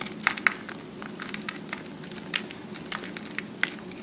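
A solid round slab of pressed green-and-white recycled soap, held in the hand, has thick flakes scraped and shaved from its face with a utility-knife blade. The result is a steady bright scraping crackle punctuated by many short, dry, crisp snaps, over a faint low hum.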